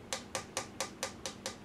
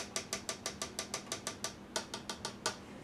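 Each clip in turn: First: Seven quick fingertip taps on a plastic chute, each a bright click with a short mid tone near 530 Hz. Second: A quick run of bright, high plastic ticks that die almost instantly: a thin polycarbonate feed chute.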